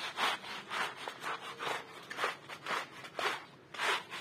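A small, flat, striped woven wool rug, muddy, soapy and wet on a plastic sheet, is scrubbed back and forth with a handheld plastic bristle brush while the other hand holds it. About eight rhythmic, wet, hissing brush strokes rise and fade in turn, bright and rasping with no low rumble.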